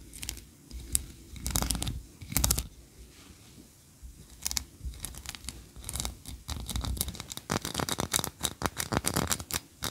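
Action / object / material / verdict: scrape / ribbed wax candle / wax / none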